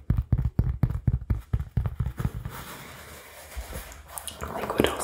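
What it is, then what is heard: Cork pad. Fingertips tap a rounded, solid, palm-sized cork oval pad held close to the camera in a tapping trigger test. About seventeen dull, deep, quick taps come in an uneven run over the first half. Softer rubbing and brighter scratchy handling noises follow.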